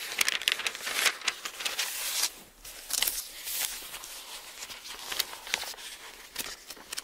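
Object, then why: Thin-paper bible book. An open bible with thin paper pages is held in both hands while the pages are turned with the fingertips. It makes a steady run of bright, dry rustling and crinkling bursts with no low end. A brief quieter gap falls midway.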